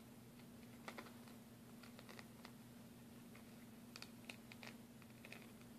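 A thin, solid plastic bank card is held in the hands while its edge and surface are tapped and scratched with fingernails. Quiet, sharp clicks and brief scratchy ticks come in small clusters over a steady low hum.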